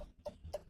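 A watermelon is tapped lightly by hand three times, giving short, dull knocks with a low thump and a brief tone near 600 Hz that dies away almost at once.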